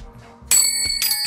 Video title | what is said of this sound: MURANG BILIHAN NG SURPLUS NA TOOLS NA SOBRANG MATITIBAY NA GAMIT ORIGINAL PA GALING JAPAN | Matining. Basta maganda yung tunog niya. Matining.